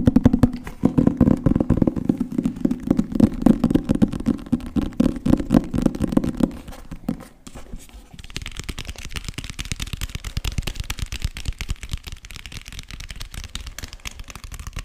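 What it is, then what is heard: Cloth-covered hardcover book. A medium green cloth-covered hardcover book with gold decoration, solid with paper pages, is tapped rapidly with fingertips and nails on the cover and spine. For the first seven seconds the dense, irregular taps sound as dull, warm thuds with a low body resonance. After a brief quieter stretch, the taps turn lighter and brighter, becoming crisp, dry clicks that stop almost instantly.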